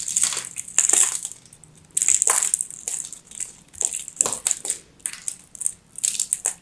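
A craft knife blade carves and scrapes a hand-sized solid ball of dry, crumbly teal soap with purple flecks, held in one hand with long grey nails. The result is a run of dry, bright, crunchy scraping bursts with sharp crackles and a high hiss, separated by brief near-silent pauses.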